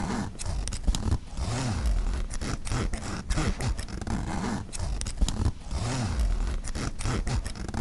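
Fingers slide the metal-pull zipper back and forth across the front pocket of a black mesh nylon backpack. Each pass makes a low, grainy rasp with quick clicks as the teeth catch. The strokes repeat in a steady, continuous zipping rhythm.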